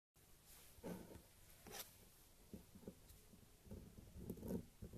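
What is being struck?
Bar of soap scraped with a thin metal blade.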